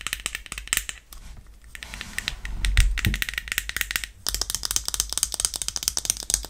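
A small, hollow, bright-green plastic cup-shaped travel pet bowl with a clip is held up close and tapped and scratched with long painted nails. Rapid, bright plastic clicks and ticks patter along, giving way in the middle to a softer, duller scratching and rubbing stretch before the quick tapping returns.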